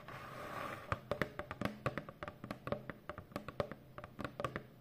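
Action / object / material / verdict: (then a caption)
tap / corrugated cardboard box / cardboard / none. Long fingernails tap rapidly across the front panel of a hollow brown corrugated cardboard Amazon box. After a soft, hissy lead-in, a quick run of about two dozen short, dry, clicky taps rings with a light hollow knock and dies away almost at once.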